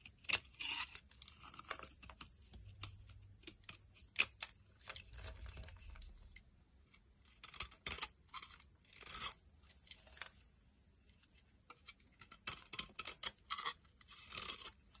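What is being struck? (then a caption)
Bar of soap shaved with a metal blade. A metal utility knife blade shaves a solid, dry green Brut luxury soap bar. Bright, crisp scraping and crunching strokes come in quick, uneven bursts with short pauses between them.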